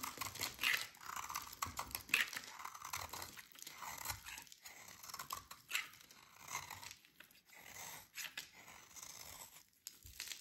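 A metal utility blade carves and scrapes crumbly chunks from a solid, dry yellow oval soap bar held in the hands. The result is a steady run of bright, dry crunching and scraping strokes that come at an uneven pace, with almost no low end.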